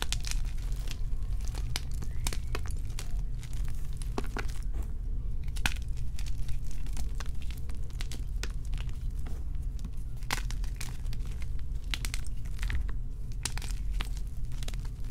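Both hands press, knead and crush four crumbled blocks of white and pink magnesium carbonate gym chalk in a dark bowl. Dense, crunchy crumbling and crackling snaps run throughout, over a steady low hum.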